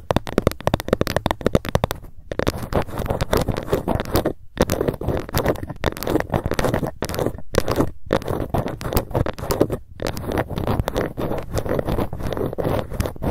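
A ruler is tapped rapidly with long fingernails, with occasional scratching strokes. The result is a dense run of short, dry, low-toned taps broken by a few brief pauses.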